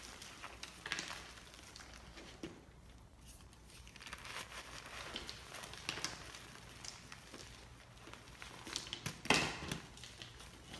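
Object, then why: Block of magnesium carbonate gym chalk. Bare fingertips and palms squeeze and crumble a chunk of large white, powder-covered BSN gym chalk block (magnesium carbonate) into powder on a dark surface. A dry, bright crackling and crinkling runs throughout in uneven bursts, with the sharpest, loudest crunch near the end before it settles back into soft crumbling.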